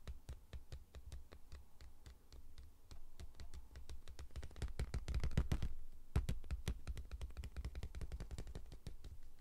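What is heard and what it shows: Fingertips and nails tap and scratch along the side of a cardboard Pringles chip tube with a metal bottom, held close to the mic. Quick, irregular dry taps with sharp, bright clicks ride over a steady low hum. The taps grow denser and louder around the middle before settling into a steady pattern.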